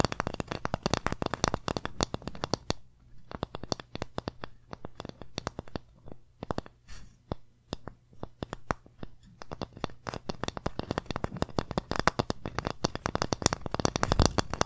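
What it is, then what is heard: Wooden plaque tapped and scratched with fingernails. Long painted nails rapidly tap and scratch a small, flat, solid wooden pumpkin-shaped board held in the hand. Dense, dry clicks and scratchy strokes come in quick bursts with no ring, thinning out in the middle before building back up, over a faint low steady hum.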